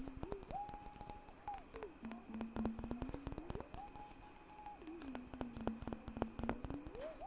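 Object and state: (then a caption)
Glass mason jar partly filled with water. A clear glass mason jar, partly filled with water, is held tilted in one hand and tapped on its glass side with the fingertips. Quick, irregular taps with a short, bright ring play over a steady tone that slides up from low to mid pitch and back down again.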